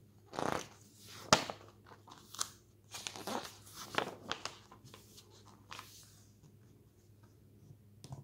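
A hand lifts and flips the thin, glossy paper pages of a lifestyle magazine lying open. Brief crisp swishes and papery flaps follow one another at irregular intervals, each with a bright rustle and a quick, dry end. Quiet pauses and a faint low hum sit between the page turns.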